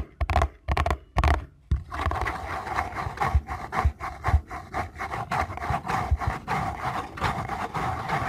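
Fingernails and fingertips scratch and rub across the printed front of a small paperboard box held in both hands. A few separate scraping bursts with soft low thumps open the clip, then give way to steady, rhythmic scratching with a dry, papery mid-range rasp over a dull low body.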